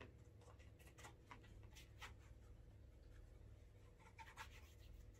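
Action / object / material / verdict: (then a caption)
scrape / leather shoe rubbed with a waxed cloth / leather / none. A cloth-wrapped fingertip rubs wax over the toe cap and sides of a brown leather Alden Straight Tip Blucher cap-toe shoe, fitted with a shoe tree and held in one hand, to build a wax burnish. Quiet, soft rubbing strokes come as brief bright swishes over a steady low hum.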